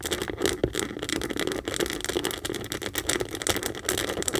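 A medium pink Kate Spade saffiano leather handbag, standing hollow on a table, is scratched and tapped along its top edge and front leather panel with long acrylic nails. The result is a fast, continuous stream of dry, crackly scratching mixed with sharp little taps, with a bright hissy texture and a light hollow body.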